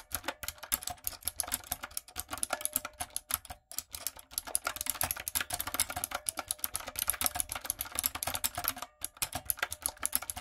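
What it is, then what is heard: Mechanical keyboard with plastic keycaps. Long nails and fingertips type quickly on a retro typewriter-style backlit mechanical keyboard with round plastic keycaps. A steady stream of sharp, bright clacks and clicks comes with very short decay and little low end. Brief pauses break up the continuous typing.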